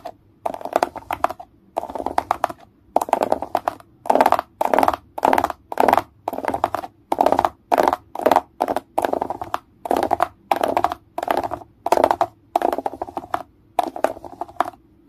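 Fingers tap and scratch across the hollow domes of a grey plastic egg tray. The result is a steady series of short, dry bursts of hollow plastic clicking and scratching, centered around 700 Hz with bright crackle above it, separated by brief silences and fading out almost instantly after each burst.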